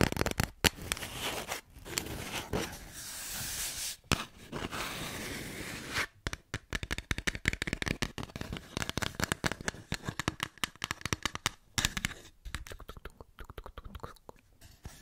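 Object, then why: Empty cardboard tube. An empty, hollow white cardboard tube is tapped with fingertips and nails along its length and over its open end. The first half holds a few sharp taps between stretches of steady hollow rushing noise. After about 6 seconds a long run of quick, dry, bright clicks and crackles follows, each fading almost instantly.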